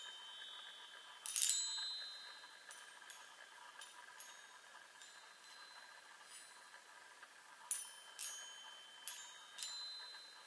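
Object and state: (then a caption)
Metal tube chime tapped with nails. Long nails tap the hollow metal tubes of a small handheld chime on a wooden frame. Light, scattered strikes bring bright, high metallic pings that ring briefly and fade over a faint steady high hum. One louder cluster comes early and a few sharper taps come near the end.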